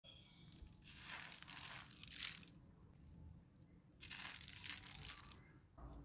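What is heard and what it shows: A hand with dark-painted short nails squeezes and crumbles a dry, grainy grey cement-dirt chunk taken from a bed of similar molded pieces, with fine dust pouring from the fingers. Two long bursts of bright, gritty crunching and crumbling rise and fade, with a short fresh crunch at the very end.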